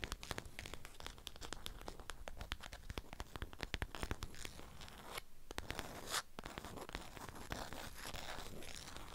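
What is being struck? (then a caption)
Beeswax-coated fabric wrap around a flat item. Long acrylic nails scratch and tap the waxed surface of a strawberry-print beeswax cloth wrapped around a flat rectangular item. Dense, rapid, dry clicks and crinkly tearing-like scratches run throughout, with a brighter sustained scrape partway through. The sound is close and quiet, with a low, soft body under sharp, very short taps.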